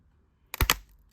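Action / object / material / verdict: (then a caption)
scrape / rigid plastic comic grading case / plastic / cracked. A CGC plastic comic book grading slab, stored for several years, is twisted by hand and gives three sharp, bright cracking snaps within about a quarter second. The case turns out to be already loose and is cracked.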